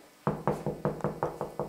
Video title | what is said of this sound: Améliorer votre analyse d'aménagement grâce à cette astuce ! | ça sonne creux. Donc là, logiquement, c'est soit du carreau de plâtre, mais pour moi, c'est du placo